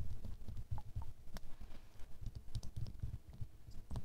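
Fingernails tap the sides and faces of a small square glass perfume bottle, full of amber liquid and held in a palm. The result is a quiet, uneven patter of soft, dull, low taps that die away almost at once, with faint bright clicks now and then.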